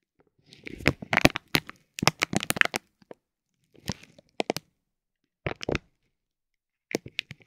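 A metal ball-tipped stick presses and rubs a soft, clear vinyl plastic bag wrapped around a roll of tape. It makes sharp, bright crinkles and crackles in dense bursts with quiet pauses between them. Each crackle stops almost at once.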